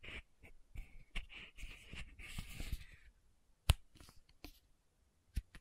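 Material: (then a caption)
Plastic, metal. A small pink Aupres plastic sunscreen bottle with a metallic cap is held in one hand and tapped on the cap top with long nails and fingertips. Quiet, dense scratchy clicking and rustling with a bright edge fills the first three seconds. It is followed by a few sharp, separate taps with short pauses between them.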